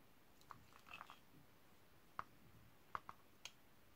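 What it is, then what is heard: Bar of soap being carved. A utility knife blade scrapes and shaves thin slices off a hand-held, partly carved, solid purple bar of Camay Magique soap over a pile of shavings. Quiet, sharp, dry clicks and crisp crunches come at irregular intervals, with a short burst of scraping near the start. Each snap is brief with no ringing.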